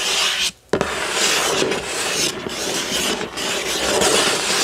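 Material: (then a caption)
Cardboard. Fingertips and nails scratch across the front of a hollow, printed cardboard building-block box, making a continuous bright, raspy rubbing. The scratching stops for a brief silent moment early on, then resumes with a sharp onset and continues steadily.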